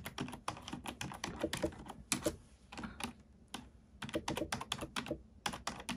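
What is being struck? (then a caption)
Plastic computer keyboard. Keys on a black plastic computer keyboard are pressed one by one with a fingertip and a long nail, giving rapid, crisp plastic clicks with a bright top edge. The typing comes in quick runs, drops to a near-silent lull around the middle, then picks back up.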